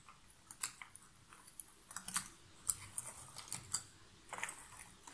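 Long nails stir and rummage through a pile of loose cardboard jigsaw puzzle pieces in an open box. The result is a quiet run of short, dry, bright clicks and rustles, with brief crisp ticks scattered irregularly over low background noise.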